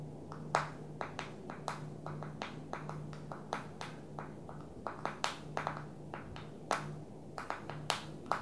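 Long nails tap the glass screen and plastic edge of a small black smartphone held tilted in one hand. It makes a quick, irregular series of short, dry clicks with a mid-pitched tick and very little ring, over a steady low hum.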